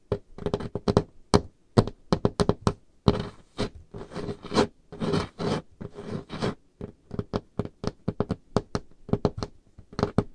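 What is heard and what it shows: Painted fingernails tap rapidly on the surface of a large, solid, dark-stained wooden table top, making short, dry knocks with a dull low body and almost no ring. In the middle stretch the taps give way to longer, rough, scratching strokes before the quick tapping returns.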